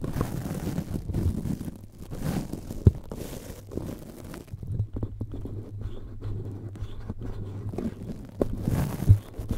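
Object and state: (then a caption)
Metal mesh microphone grille being scratched. A cotton swab rubs and scratches the hollow red perforated metal mesh grille of a powered cylindrical USB microphone. The result is a dense, boomy, muffled scratching with a steady low hum in the middle stretch and a few sharper taps, while the highs are almost absent.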